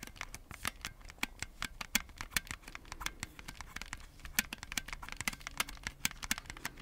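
Red and blue plastic Nintendo Switch Joy-Con controllers in a black plastic grip, hand-sized and hollow, are held close to the mic while fingertips tap and press the buttons and scratch the shell. A quick, uneven stream of sharp, bright plastic clicks and taps dies away almost instantly, with soft scratching between them.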